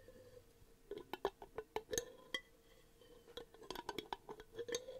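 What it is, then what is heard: Glass jar. Long painted nails tap on the lid and glass of a medium clear glass jar with a paper label, which looks empty and is held in one hand close to the microphone. A quick, irregular series of sharp, bright clicks and clinks comes in two clusters separated by a quieter pause. Each tap dies out almost instantly over a faint steady tone near 400 Hz.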